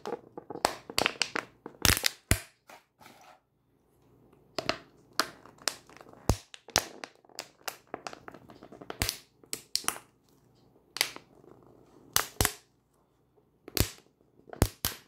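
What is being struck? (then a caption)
Thin plastic water bottle. A small 500 ml thin plastic water bottle, partly full of water, is held in both hands and squeezed and crunched by the fingers while nails tap on it. Sharp, bright crackling crunches and quick taps come in bursts with short pauses in between, and each sound dies away almost at once.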